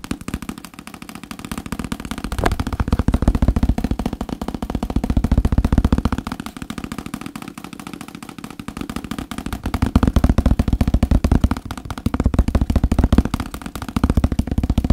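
A thick paperback book, with its page edges and cover showing, is held close to a microphone and tapped and scratched with fingertips and nails. The result is a dense, rapid stream of soft, muffled, low-heavy taps and scratches. It swells louder and fades softer in waves across the clip.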